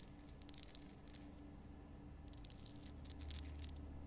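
Long painted nails scratch across the rough surface of a large, solid, lit pink rock-salt Himalayan lamp, producing quiet, crisp, bright scratching ticks in short irregular clusters. A steady low hum sits underneath throughout.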